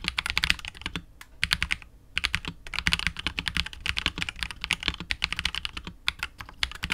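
A 65% KBD67 Lite R2 mechanical keyboard with KTT Wine Red switches, PBT keycaps and a hollow, clear translucent polycarbonate case is typed on continuously with the fingertips of both hands. The keystrokes are quick, bright, dry clicks with almost no ring and a light low thump. They come in dense bursts with brief pauses near 1 and 2 seconds.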